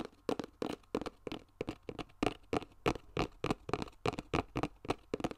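Fingertips and nails tap and scratch a flat, hollow yellow cardboard box with a barcode sticker, held up close to the mic. About 21 quick, dry, papery taps come in an uneven rhythm, each fading almost at once, with a light scratchy texture between them.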